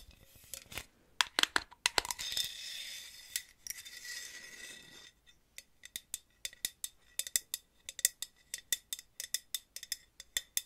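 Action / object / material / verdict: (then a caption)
tap / aluminum aerosol can / aluminum / none. Long nails fitted with paper clips tap on a purple Aussie hairspray aerosol can, a hollow aluminum can with a plastic cap, making sharp, bright metallic clicks and clinks. Early on, a few seconds of steady scratchy hiss run under the taps, then quick irregular tapping continues to the end.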